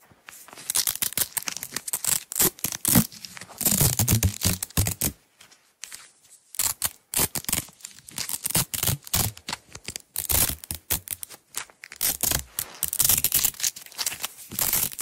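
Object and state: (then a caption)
Nylon hook-and-loop tape being peeled. Long nails unroll a small roll of green nylon velcro hook-and-loop tape and peel the strip apart. Bright, crackling tearing bursts come in quick irregular runs, with low thuds under some rips and a short pause just past the fifth second.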